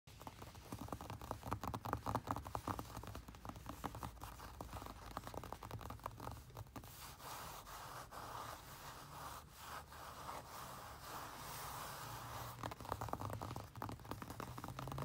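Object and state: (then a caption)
Lined paper page scratched with fingernails. Pink-painted, medium-length fingernails and fingertips scratch and rub across a flat sheet of white lined notebook paper. Quick, dry scratches and soft rubbing strokes run steadily for about fifteen seconds, with a papery rasp centered around 1 kHz over a low rumble.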